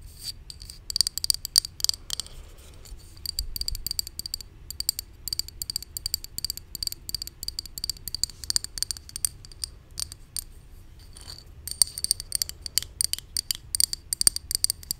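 A hollow white plastic supplement bottle with a green label is held up and tapped with long nails. The result is rapid, irregular clusters of sharp, bright clicks that stop almost instantly, with short pauses between bursts over a faint low background hum.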